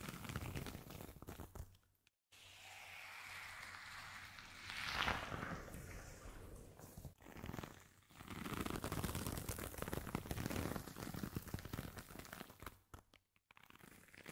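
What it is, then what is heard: Woven jute coaster. Fingertips and nails scratch the braided fibres of a round, palm-sized, solid woven straw or jute coaster with a dark crocheted rim, held close to the mic. The result is dense, crackly rustling and scraping that runs through most of the clip, with brief near-silent pauses just after two seconds and near the end.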